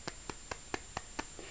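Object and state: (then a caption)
Lightweight costume ornament that sounds like plastic but is not. Seven light, evenly spaced taps on the white main piece of a lightweight Serah Farron cosplay leg ornament, each a short, dry click that dies away almost instantly. It sounds like plastic but is not. A steady high-pitched whine runs underneath throughout.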